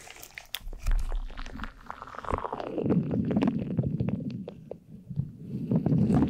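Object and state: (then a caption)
Gel-filled squishy ball. Long black acrylic nails tap and scratch across a hand-sized, purple, glitter-filled soft rubbery gel squishy stress ball. Quick sharp clicks ride over a low, wet, squelching rumble. The squish swells and fades throughout as the gel is pressed and worked.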